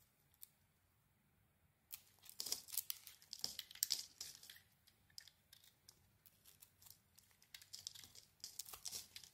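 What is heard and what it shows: A red and pink bar of soap, held in the hand, is carved into flakes with a blade. After almost two seconds of near silence, dry, crisp scraping and crackling bursts begin, bright and airy with almost no low end. Each cut stops short with no ring before the next.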